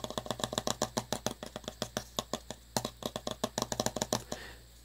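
A small, hollow round metal tin from a flea and tick collar, held in both hands, is tapped and scratched on its paper-labelled lid with fingertips and short nails. About thirty quick, crisp taps come in uneven bursts, each a dry click with only a very brief ring. The clip ends with a softer scratching sound.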